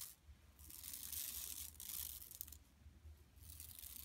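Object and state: Woven plastic mesh bag scratched.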